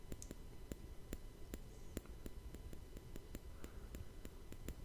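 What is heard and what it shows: A fingertip taps and scratches across the hollow, rounded woven steel mesh grille of a Blue Yeti microphone. The result is a steady run of sharp, dry clicks with bright edges over a constant low hum, and each tap dies away almost instantly.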